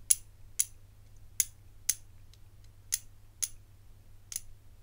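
A rigid hinged, hollow bangle with black enamel segments and gold-coloured metal bands is held in one hand and tapped and rubbed with the fingertips and nails. Seven short, bright clicks sound at uneven intervals, each dying away almost instantly, over a faint steady low hum.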